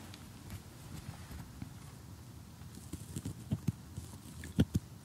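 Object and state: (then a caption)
Cardboard jigsaw puzzle. Short glittery fingernails tap across a large assembled cardboard jigsaw puzzle lying flat, its picture showing a house and a tree, before tweezers poke at it. The sound is a quiet run of soft, dull, low taps and faint scratchy rustle, with a few sharper, louder knocks near the end that stop dead without ringing.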